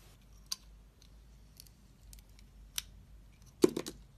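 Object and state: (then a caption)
Bar soap being cut. A utility knife blade slices and scrapes the outer layer off a solid metallic blue soap bar with a lilac interior, held with long red nails. Short, crisp, bright cutting clicks sound against a quiet background. A louder cluster of quick scrapes comes near the end.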